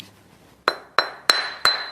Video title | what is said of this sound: Escape to the Country Season 2022 Sussex Series 14 75🏠 Full Episodes | you can hear it's ringing quite well